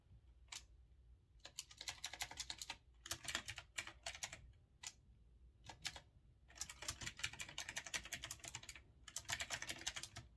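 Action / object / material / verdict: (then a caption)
tap / retro-style mechanical keyboard with round keycaps / plastic / none. Fingertips type quickly on a retro typewriter-style mechanical keyboard with round chrome-rimmed keycaps. Bursts of sharp, bright clicks come in rapid runs separated by short pauses, over a faint low hum.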